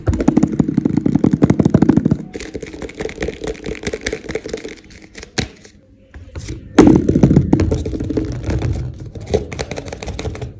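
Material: Plastic.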